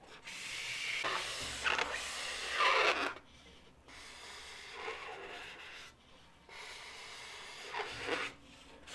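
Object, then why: Inflated latex modelling balloon. A blue, hollow, inflated latex modelling balloon is rubbed, scratched and squeezed by long nails. Bright, dry squeaky rubbing and scratching swells in and out in bursts, with the loudest stretch near the start and quieter scraping passes later.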